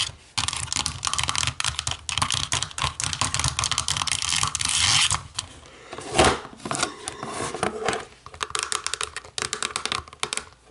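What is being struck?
Plastic remote control.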